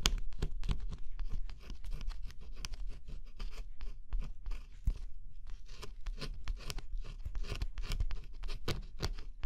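A thin scraper stylus pressed under a fingertip scratches across a flat cardboard jigsaw puzzle with a black scratch-off coating. Quick, dry scraping strokes crackle in a dense, uneven run, each bright, brief rasp dying away almost instantly over a low, steady rumble.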